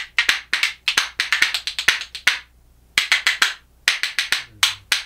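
A pair of small, solid, light-coloured yachidamo (Japanese ash) wooden percussion spoons, held back to back, is struck against the hand and knee in a rhythmic clacking. About 26 sharp, bright, dry wooden clicks ring out in quick bursts, with a couple of short pauses, and each click dies away almost instantly.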